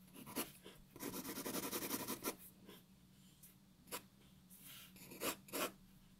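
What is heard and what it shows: A graphite pencil draws on a white paper sheet resting on a wooden table, making dry, broadband scratching strokes. A long stretch of dense, rapid scribbling is surrounded by short, separate strokes, with bright hiss reaching high frequencies over a faint low hum.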